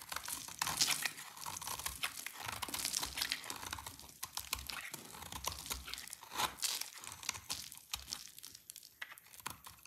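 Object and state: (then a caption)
Dry soap bar being cut. A solid oval bar of dry white-lilac soap, held in the hand, is cut and scraped with a utility knife blade, and shavings fall off. The clip is a steady run of crisp, crunchy scraping and crackling, bright and dry with short, quick bursts and little low end.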